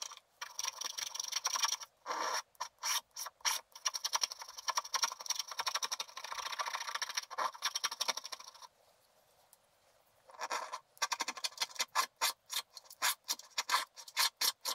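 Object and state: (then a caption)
Wax-coated scratch art paper. A wooden stylus makes rapid scraping strokes across a flat sheet of black wax-coated scratch art paper, working over a drawn stocking. Bright, dry scratching comes in long rasping runs and short quick flicks with no low end. After a brief quiet pause, it resumes as a string of short, crisp strokes.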